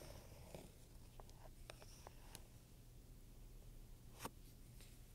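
A wooden pointer scratches and taps across the front panel of a black pebbled-leather handbag with metal studs while a hand steadies the bag. Quiet, short, bright ticks and clicks sit over a steady low background hum, with one sharper tap near the end.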